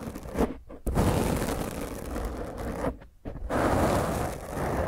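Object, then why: Foam microphone windscreen. Long fingernails of both hands scratch a black foam microphone windscreen, making a loud, rough, low-heavy scraping and rustling. The scratching runs almost continuously, breaking off into brief near-silences twice before surging back in.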